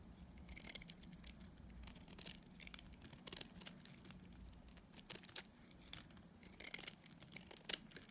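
A hand-held solid bar of dried soap, dark grey outside with a pale layered inside, is scraped and shaved with a multi-blade cutter, its shavings falling onto a pile of soap crumbs. Quiet, bright, crisp scraping and crackling runs throughout, broken by short sharp rasps and ticks, with a faint low hum underneath.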